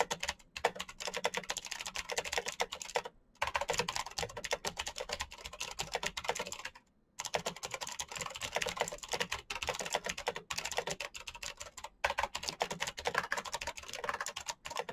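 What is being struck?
Plastic mechanical keyboard.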